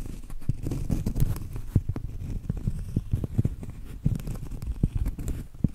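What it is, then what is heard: Cork trivet. Acrylic nails scratch and tap the flat face of a round solid cork trivet. The sound is a steady, dull, low scraping rustle broken by many quick, muffled taps that stop dead with no ring.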